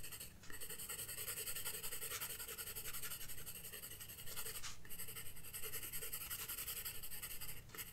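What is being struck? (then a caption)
Pencil on a paper sketchbook page. A pencil held in the fingertips draws scratching strokes across a flat spiral paper sketchbook page. A steady, bright, papery scratch continues throughout, with rhythmic strokes, brief pauses near the start and middle, and a soft low rumble underneath.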